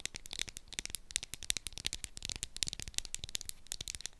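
Long acrylic nails tap and scratch a small, hollow Sanex roll-on deodorant bottle with a clear plastic body and a pink textured plastic cap. The result is a rapid, uneven stream of sharp, bright clicks and dry scratching with almost no ring and little low end.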